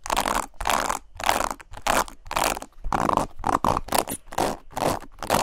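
Long nails and fingertips scratch quickly across the plastic bristles of a black paddle hairbrush with a leopard-print handle. The result is a rapid series of dry, raspy scratching bursts, bright and crackly, with short gaps of near silence between strokes.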